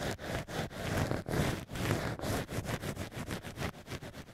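Black ear picks scratch and scrape inside the holes of drilled cork wine-stopper ears set in a plush holder. A run of many short, rough strokes has a low, muffled body, with the strokes coming quicker and lighter toward the end.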